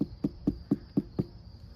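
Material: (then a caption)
Pumpkin rind. Six gentle knocks on a large pumpkin, still partly green with orange speckles, give short, low, hollow thumps that die away almost at once. The hollow sound shows the pumpkin is ripe and ready to pick even though it is not all orange.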